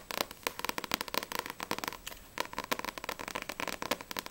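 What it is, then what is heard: Paperback manga book. Long painted nails tap quickly on the glossy paper front and back covers of a small paperback manga volume, Blue Exorcist vol. 3, a solid stack of pages held in both hands. About 25 sharp, dry, clicky taps come in rapid, uneven bursts. They are bright with almost no low end and stop instantly with no ring.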